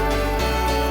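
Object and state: Nothing is struck.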